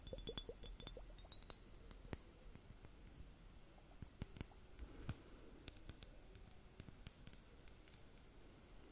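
Long nails tap a purple plastic liquid glitter hourglass timer, its two bulbs partly filled with liquid, held up close. The result is a quiet, irregular series of light, sharp clicks and clinks with a bright, high edge and almost no ring, over a soft hiss.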